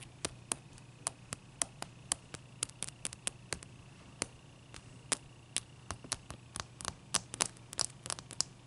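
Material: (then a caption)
Ice. Long nails tap and scratch around the faces of a single solid clear ice cube resting on a towel. Around thirty sharp, bright clicks ring only for an instant, with quieter scratchy ticks between them over a faint low hum.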